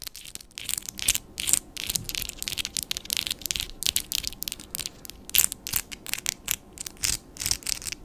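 Long black-and-white patterned acrylic nails tap and click against each other and against hard plastic nail tips just above a microphone. The result is a rapid, irregular run of crisp, bright clicks and brief scratchy bursts, almost entirely high-pitched with very little low end. Each click dies away almost instantly.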